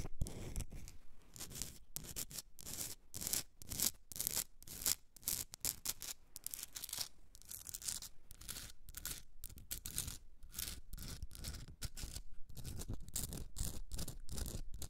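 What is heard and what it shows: Long red nails rapidly scratch a hand-sized pink Himalayan rock salt candle holder, a block with a hollowed top for a candle and a rough crystalline surface. The result is a dense run of short, dry, gritty scrapes with bright, hissy highs over a soft low rumble, each stroke stopping dead with no ring.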